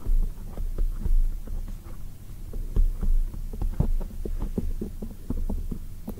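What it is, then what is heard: Foam microphone windscreen. Long acrylic nails and fingertips tap on a black foam microphone windscreen, making a quick series of soft, muffled thumps. Each thump has a deep, throbbing low rumble like a heartbeat, with faint, brief clicks on top. The hits die away almost at once.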